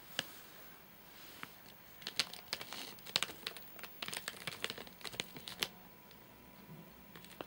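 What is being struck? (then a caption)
Nougat bar in a plastic wrapper. Fingertips tap and scratch the top of a full, flat rectangular nougat bar in a crinkly plastic wrapper with crimped ends. The result is sharp, bright crinkles and clicky taps, sparse at first, then bunching into a dense flurry in the middle before thinning out again. It has almost no low end, and each crackle dies away instantly.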